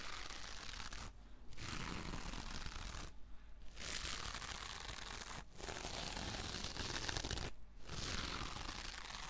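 Long painted nails scratch slowly across the textured surface of a hand-sized rectangular dish sponge with a gold glittery mesh fabric cover, held upright in one hand. A steady, bright, crinkly rasping fills the clip, broken by four short pauses between strokes.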